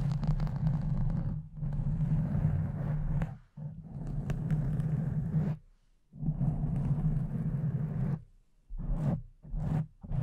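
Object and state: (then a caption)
Foam microphone windscreen being scratched. A pink foam windscreen over a condenser microphone is scratched with the nails and fingertips of both hands. The result is a dense, low, rumbling rustle that runs in long bursts, broken by a few short pauses. A steady hum sits around 150 Hz beneath the scratching.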